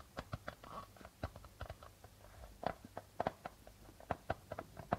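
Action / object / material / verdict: tap / darbuka hand drum with plastic membrane / plastic / none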